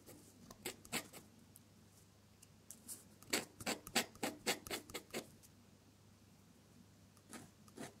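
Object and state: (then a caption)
Paper sheet scratched by a metal pen nib. A metal dip-pen nib scratches across a sheet of drawing paper as it draws the petals and stem of red flowers in colored ink. Short, bright, dry scratching strokes come in irregular bursts, clustered most densely in the middle of the clip, over a faint low hum. Quiet pauses fall between the groups of strokes.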